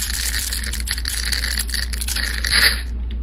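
A flat metal blade scrapes the grid-scored surface off a solid pink rectangular soap bar held in the hand, cutting it away in small cubes. The result is a continuous bright, crumbly scraping and crackling over a steady low hum, swelling slightly louder near the end before thinning out.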